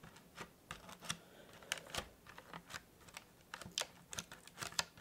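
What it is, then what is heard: Cardboard gift box. Fingertips and nails tap quickly along the sides of a small, hollow, white printed cardboard tea gift box. About fourteen short, dry, bright clicks sound in uneven succession with almost no ring, over a faint low hum.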